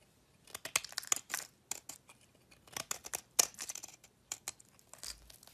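A solid cream-coloured bar of soap held in the palm is shaved into flakes with a metal utility knife blade. Quick, irregular scraping and crisp flaking sounds come in bursts, bright and hissy with almost no low end, each stroke dying away at once.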